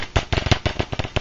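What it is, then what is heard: Blown loudspeaker with rattling cone. The paper cone of an old, blown ELO speaker is tapped repeatedly, and each tap gives a short, low, thumping rattle with a dry crackle. The rattling, crackling response is a fault: a working speaker shouldn't sound like that.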